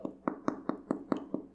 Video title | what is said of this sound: PAN CASERO SIN AMASAR - Panadería Esencial T1 Cap.6 | that sounds hollow, that indicates that our bread is already perfectly cooked